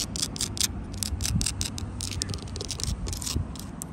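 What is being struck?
Sandstone wall with mortar joints, scratched with nails.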